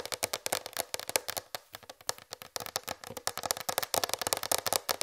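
Fingertips and long red fingernails tap quickly on a large, raised white plastic tray, producing a rapid run of about 28 crisp, dry clicks. Each tap is bright and hollow-sounding, with a tone around 550 Hz, almost no low end and no ring.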